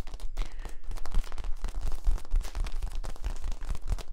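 Fingers scratch and tap along the ridges of a long, hollow, yellow corrugated plastic tube held horizontally between two microphones. The result is a steady run of quick, crinkly scratching and dull tapping, with low thumps under bright, rasping ridge noise.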